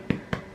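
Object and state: Hollow-sounding baked bread loaf (baked through).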